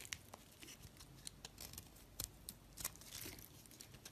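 A blade carves chunks and shavings off a solid green oval soap bar held in the hand. It makes a quiet series of crisp, bright scraping and crunching cuts with short, sharp snaps, each dying away at once.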